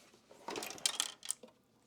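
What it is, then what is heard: Loose screw rattling inside a device case. A loose metal screw rattles inside the case of a vintage 1984 Data I/O 29B IC chip programmer as the unit is handled, and it is not a normal sound. Bright, high-pitched metallic clinks tumble in a quick, uneven burst, with the sharpest ticks near the end. The screw later turns out to have dropped out of the case.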